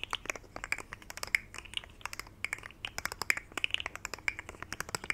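Fingertips flex and rub the segments of a rainbow segmented plastic articulated fidget slug toy, bent into a curve, close to the mic. A rapid, irregular run of sharp, dry clicks is heard, bright and high with a slight tonal edge near 2 kHz and almost no low end. Each click stops instantly, over a quiet background.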